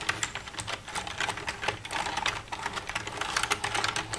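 Long red-painted nails tap and type with both hands across the keys of a black plastic desktop computer keyboard with a hollow casing. The result is a rapid, steady stream of short, bright plastic clicks and clacks that stop almost instantly.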